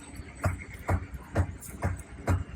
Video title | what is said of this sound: 20230320 LFSEEC final | it's just like knocking on a door you know it's just like something that's Hollow